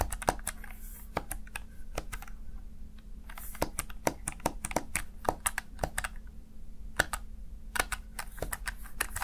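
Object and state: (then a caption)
Plastic gaming keypad. Fingertips tap and press the keys of a Razer Tartarus Chroma, a small black plastic backlit gaming keypad. It makes a quick, irregular run of sharp, dry plastic clicks with bright attacks that die away almost instantly. A faint steady low hum sits underneath.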